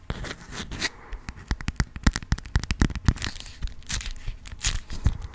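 A yellow honeycomb-print beeswax cotton food wrap is rubbed, scratched with long nails and crinkled. The result is a fast, irregular run of sharp crackling and tearing-like crinkles, with short snaps and soft scratchy rustling between them.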